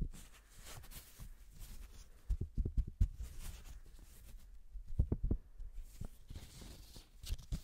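A single thin yellow paper banknote is stretched, snapped and crinkled by black-gloved hands close to the mic. Short, dull snaps land in quick clusters over a faint, papery crinkle, each dying away almost at once in a quiet, still space.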